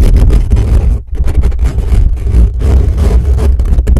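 Fingertips scratch and tap quickly and aggressively around the dome of a black metal mesh grille on a desktop microphone. The result is a dense, loud rumble of scratching, dominated by deep low-end thumps, with brief drops in level around one second and two and a half seconds.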